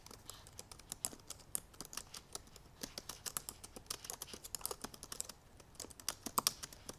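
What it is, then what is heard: Laptop keyboard with plastic keys. Long purple nails tap the black plastic keys of a silver aluminum MacBook Pro laptop keyboard while typing. About forty quick, dry clicks of uneven loudness run at a rapid pace, each bright and gone almost instantly.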